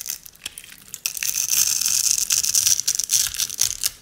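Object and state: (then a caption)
Dry soap bar crumbled. A single beige rectangular bar of dried soap, pre-scored into a grid of small cubes and with a piece of yellow cutter blade resting on it at the start, is held in one hand while the fingertips and nails of the other hand scrape and crumble the cubes off. Soft, scattered crackles at first give way to dense, bright, dry crunching and crinkling that is almost entirely high-pitched and irregular, then it fades at the end.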